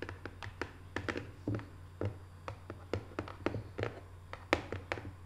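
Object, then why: Small printed cardboard box. Long nails tap quickly on the closed lid of a small, hollow, rectangular decorative cardboard box covered in Paris photo prints. About 21 short, dry taps land at an uneven pace, each fading almost instantly. A steady low hum runs underneath.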